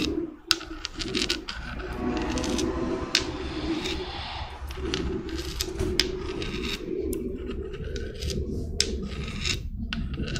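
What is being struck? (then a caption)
Small spiky spiral seashell. Long red nails rub and scratch a small, hollow, white spiky spiral seashell with brown spots. The result is a steady, close, dry scraping texture with bright, sharp clicks scattered throughout, over a constant low hum.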